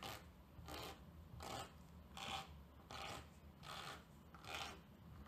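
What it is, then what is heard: Terry towel scratched with a plastic comb. A tortoiseshell-patterned plastic comb, held by a hand with long lilac nails, is drawn fast back and forth across the pile of a thick grey terry-cloth towel laid flat on a table. Each stroke makes a dry, raspy scratching burst that is bright and airy. The strokes come in a steady, slightly uneven rhythm over a faint low rumble.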